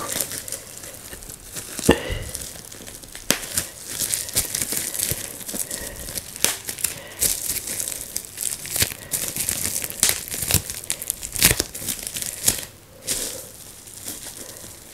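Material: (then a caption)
Plastic. Fingertips press down on a large flat sheet of plastic bubble wrap laid on a surface, popping bubbles one after another. Sharp, bright snaps and pops punctuate a steady crinkling of the plastic over the whole clip.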